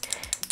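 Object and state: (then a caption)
Liquid contour bottle with a mixing ball inside. A new liquid contour bottle with a sponge applicator is shaken before use, so the mixing ball inside knocks against the walls and pushes the product onto the sponge. The result is a few quick, bright, high-pitched clicks with very short ring and almost no low end.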